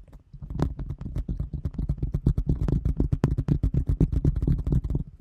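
A large, round, thin translucent plastic container lid, held in front of the microphone, is tapped and scratched with long nails. The result is a rapid, irregular stream of short, dull, low-pitched taps and soft scratching, with a hollow, muffled tone and almost no ring after each hit.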